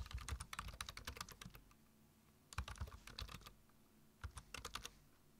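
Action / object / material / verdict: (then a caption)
tap / plastic computer keyboard / plastic / none. Fingertips type on a black plastic computer keyboard, tapping its keys in three quick bursts separated by short pauses. Each keystroke is a short, bright click over a soft low thump, and the sound dies away almost immediately.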